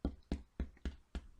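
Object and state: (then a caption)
Baked-through bread loaf (hollow). A honey wheat bread loaf, fresh from the oven, is held up to the ear and tapped five times on the bottom, giving short, dull, low thumps. The loaf sounds hollow, which means the bread is done.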